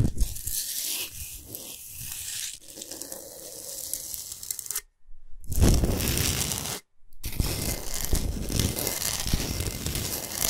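Long nails scratch fast across the top surface of a large, flat, rectangular solid block of pink Himalayan rock salt, using one or both hands. The result is a dense, rough, crackling scrape with a tearing quality. It pauses briefly twice, around five and seven seconds in, then carries on just as fast.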